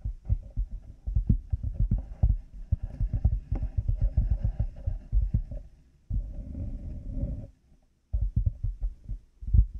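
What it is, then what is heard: Plastic cat-ear headphone headband. Fingertips and nails of both hands tap on the black plastic headband and plastic light-up cat ears of headphones mounted on a binaural mic. Dense, dull low thumps come in quick, uneven bursts, with a steadier scratchy rubbing stretch near the middle and a brief silence before the taps resume.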